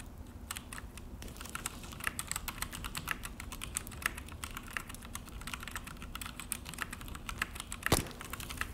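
Both hands type with their fingertips on a full-size Akko mechanical keyboard with an orange plastic case and black plastic HyperX keycaps, resting on a desk. A steady stream of quick, bright plastic clicks and clacks carries a low thock underneath, with one sharper, louder clack near the end.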